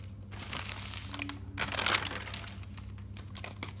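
Fingers turn single white pages of an open, thick paper notebook, producing bright, crisp rustling and crinkling that swells around the middle and then settles into softer page sounds. A faint, steady low hum runs underneath.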